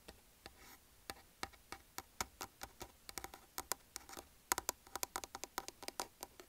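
Fingertips tap rapidly on a closed, hollow black plastic Salonia hair straightener, about 30 cm long, held in the other hand. About 33 quick, dry, bright clicks come in an uneven rhythm, each with a hollow plastic knock near 1 kHz that dies away almost at once over a quiet background.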